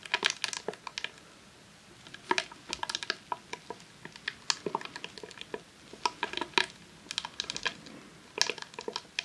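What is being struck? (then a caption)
Rolled vinyl sheet in a plastic sleeve. A long, hollow roll of vinyl adhesive sheet in a clear plastic sleeve, lying on a lace tablecloth, is tapped and scratched with long nails. The result is dense bursts of sharp, dry clicks and crinkly ticks that rise and fall in clusters, bright and crisp with almost no low end and very short decay.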